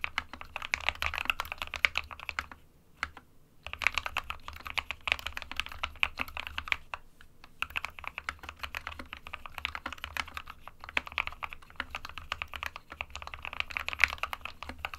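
An SK61 small 60% mechanical keyboard with a white plastic case and plastic keycaps, resting on a printed desk mat, is typed on with the fingertips of both hands. Rapid, bright plastic key taps clatter in a steady stream with very little low end, pausing briefly around the third and seventh seconds. Each tap is short and dry with almost no ring.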